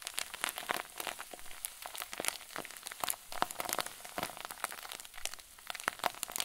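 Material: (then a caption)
Plastic. A clear plastic zip bag full of white fluffy filling is twisted and squeezed tightly in both fists. It produces dense, bright crinkling with rapid, sharp crackles that die away almost instantly. There is little low end, and the sound stays at a steady, soft level throughout.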